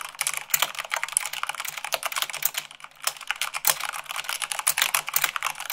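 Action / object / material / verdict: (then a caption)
tap / plastic mechanical keyboard / plastic / none. Long pink nails and fingertips type fast, at about 98 words per minute, on a full-size mechanical keyboard with white plastic keycaps on a black frame. A dense, steady stream of bright, crisp plastic clicks and clacks with almost no low end, each keystroke dying away instantly. The pace eases briefly just before the three-second mark, then picks back up.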